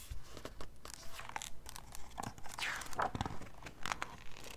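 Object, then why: Glossy paper book pages. Long red-painted nails and fingertips grip, flip and rub the glossy printed pages of a large softcover-style photo book of national parks, held open. The result is a quick, uneven run of crisp crinkling, tearing-like swishes and soft taps as the pages turn. It has a low thumpy base under brief bright rustles.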